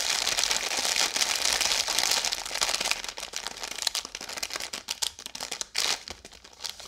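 A full Oreo biscuit roll in crinkly blue plastic film, held upright, is scratched and tapped with long yellow nails. A dense, bright crinkling fills the first few seconds, then breaks into quicker, separate sharp ticks and crackles of the wrapper, each dying away almost instantly.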